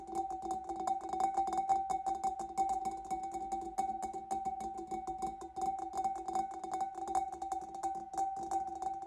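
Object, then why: Glass fish bowl. Long nails of both hands tap the sides of a large, empty, clear glass fish bowl, making a rapid, uneven run of sharp clicks. Each tap rings briefly with a steady glassy tone around 770 Hz and a lower hum beneath it, plus bright clicky edges on top.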